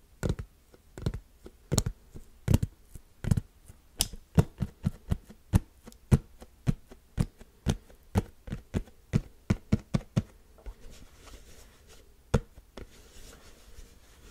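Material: Plastic.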